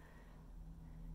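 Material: Nothing is struck.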